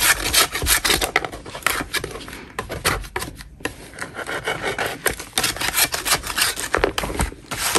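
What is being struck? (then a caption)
Chalk block scraped with a metal putty knife. A gloved hand scrapes a large, solid, dust-covered chalk block with a metal putty knife. The result is a rapid, irregular series of dry, gritty scrapes with a bright, raspy texture and little low end, broken by brief quieter gaps.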